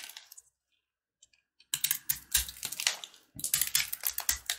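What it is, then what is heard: Brittle corn-kernel jaggery candy bar carved with a blade. A box-cutter blade scrapes and carves a hand-held, solid, brittle bar of yellow corn kernels bound with jaggery sugar. A few faint ticks are followed by a short silence, then dense bursts of bright, crisp crackling and scraping that pause briefly before resuming.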